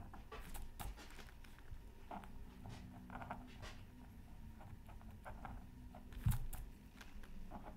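A bamboo stylus tip scratches fine lines into a flat black-coated scratch art card from a Mythical Creatures Super Scratch Art Pad, lying on a mat with the other hand resting on tracing paper. Quiet, low, dry scratching comes in short strokes, with faint brighter flecks. One louder scrape near the end stands out before the soft scratching resumes.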